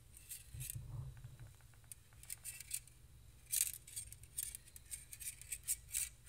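Two stainless steel balloon whisks with hollow open wire loops are held one in each hand, their wires scratched and tapped against each other with fingertips and the wires themselves. Quiet, bright metallic ticks, scrapes and faint jingles come in irregular clusters over a low background rumble. Each contact is short and dry, with almost no ring.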